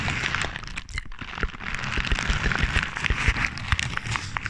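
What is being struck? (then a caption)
Crumpled paper. Crumpled paper held in one hand beside the microphone is crinkled with the fingertips, giving a dense run of dry crackles and sharp rustles. The sound is bright with some low thumps beneath, and it dips briefly near one second before growing busier and louder.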